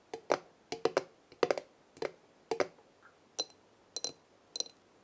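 Long nails tap the black metal lid of a large glass jar full of dried herbs, then tap its glass side, in quick light clicks and short clusters. The lid taps are dull and clicky, centred around 480 Hz, while the later taps on the glass add a brief, bright, high ringing tone. Each tap dies away almost at once into quiet.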